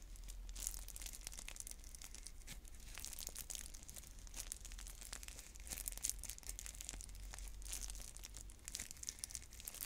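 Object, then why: Plastic shrink wrap on a plastic container. Long nails crinkle, scratch and tear at the plastic shrink wrap on a clear plastic stacking bead container held in both hands. A quiet, steady stream of bright crackling and sharp ticking plays throughout, over a constant low hum.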